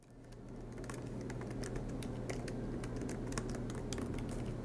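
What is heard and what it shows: Both hands type continuously with their fingertips on a silver MacBook Pro laptop, tapping its low-profile black plastic keys set in an aluminium body, with the laptop resting on a desk mat. A quick, uneven patter of soft, bright key clicks rises in over a steady low hum and keeps going at an even level.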